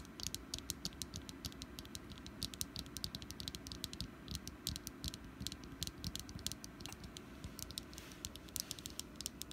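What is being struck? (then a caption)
Small wax pumpkin candle. Long nails tap rapidly on a small solid orange wax pumpkin candle, giving a quick, irregular stream of short, dry, bright clicks. Each tap dies away almost instantly over a soft, steady low hum.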